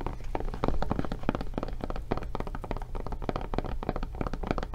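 Long painted nails tap and scratch rapidly across the surface and handle of a medium-size, solid-feeling blue kid-proof case of thick rubber (silicone/foam) with a tablet inside, held in both hands. The result is a dense run of dull, muted thuds and soft scratches with a low, heavy body and almost no ring.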